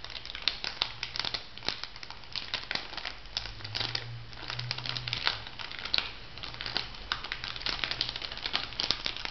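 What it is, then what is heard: Crinkled plastic foil sachet. A small, flat, pink printed plastic-foil bath-salt sachet, still filled, is crinkled and scratched with long nails. The result is a steady stream of quick, bright crinkles and crisp clicks that fade almost instantly, over a faint low hum.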